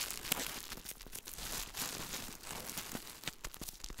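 A small, shiny plastic-film grocery package is held in both hands close to the microphone while fingertips crinkle and rub the wrapper. The result is a dense, bright crackling and rustling with many quick, sharp snaps that fade almost instantly, carried mostly in the high range over a light low rumble.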